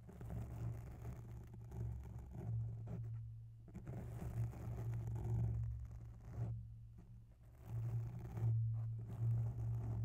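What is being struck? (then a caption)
Foam microphone windscreen. Long bare nails slowly scratch along the right side of a grey oval foam microphone windscreen. The result is a soft, muffled, low rumbling scrape with a steady low hum, rising and falling in uneven waves with brief quieter gaps.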